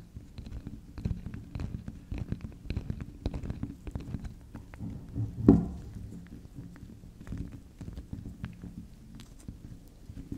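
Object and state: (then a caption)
Bar of soap tapped and scratched with fingernails. Long acrylic nails tap and scratch the face and rim of a small, solid, round pink spiral soft soap, making many quick, soft, low-pitched taps and dull scratching. One firmer tap stands out about halfway through, and the rest stay quiet with no high brightness.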